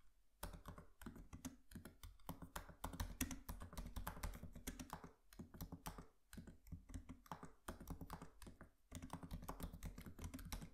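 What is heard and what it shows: Both hands type with their fingertips on a MacBook Pro laptop keyboard with black plastic keys and an aluminium body. It makes a quiet, rapid run of soft, low, thumpy key taps that die away at once, with brief pauses between bursts.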